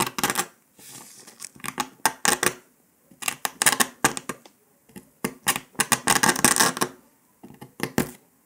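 A metal needle scratches and picks along the cut line of a brittle brown dalgona honeycomb sugar candy disc resting on paper. Dry, bright scratching and crisp clicking come in irregular clustered bursts separated by short silences, with very little low end and almost no ring after each scrape.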